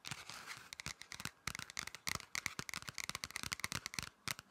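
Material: Paper.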